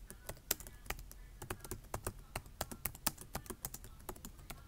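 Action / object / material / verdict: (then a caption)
tap / plastic laptop keyboard / plastic / none. Fingertips of both hands type on a black plastic laptop keyboard, tapping the keys in a quick, uneven run of about 27 short, sharp clicks. Each tap has a bright crack over a light low knock and dies away almost at once, at a soft overall level.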